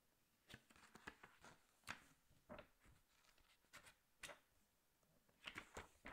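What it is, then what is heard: Glossy paper magazine being rubbed and turned. Both hands lie flat on a large open glossy paper National Geographic magazine on a glass table as fingertips rub and scratch across the pages, with occasional page turns. Quiet, bright, dry rustling and scratching comes in short uneven bursts with brief gaps between them.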